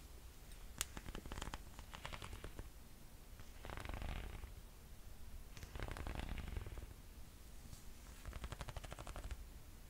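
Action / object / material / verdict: tap / sandal with leather straps and thick rubber sole / leather, rubber / none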